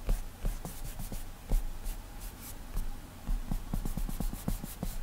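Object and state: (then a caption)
Glass tablet touchscreen. A fingertip strokes and lightly taps on the flat glass touchscreen of an iPad tablet while painting hair in a drawing app. Soft, dull taps and faint brushing rubs repeat in an uneven rhythm, with bright swishes from the finger gliding across the glass.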